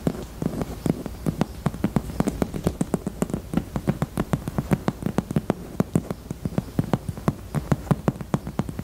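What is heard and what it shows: Long teal acrylic nails rapidly tap and scratch the front face of a pink, handbag-sized, hollow heart-shaped hard-shell purse in faux leather held against the chest. The result is a steady stream of short, dry, hollow clicks with a low body around 150 Hz and almost no ring, over a soft scratchy bed.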